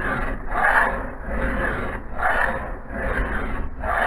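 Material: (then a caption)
Steel. A metal file is pushed with both hands along the edge of a solid steel axe head clamped in a vise. It makes a steady, rhythmic rasping sound in slow, overlapping swells, with gritty mid-range scraping around 1–2 kHz over a low rumble.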